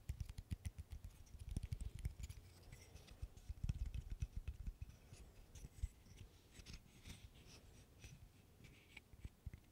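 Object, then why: Wooden burr puzzle of solid wood sticks. A small interlocking burr puzzle made of solid light wood sticks is handled with the fingers, its pieces clicking together while being tapped and scratched with the nails. Quiet, dry, rapid clicks and soft low thumps, louder in the first half, mix with faint bright scratching and die away instantly.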